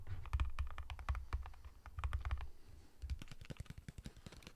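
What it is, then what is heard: Cardboard chip can. A sealed cardboard Pringles chip tube is tapped rapidly on its side and lid with fingertips and nails, held up near the face at times. The taps give quick, short hollow thumps with a deep low body and crisp bright clicks on top, coming in dense bursts that ease off slightly toward the end.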